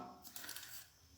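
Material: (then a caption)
Coins. A child's Frozen piggy bank full of coins is shaken, giving a bright metallic rattle of coins jostling inside. The clinking clusters into three quick bursts, and the rattle shows the bank is full.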